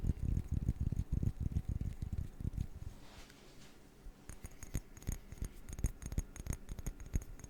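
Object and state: Glass object being tapped.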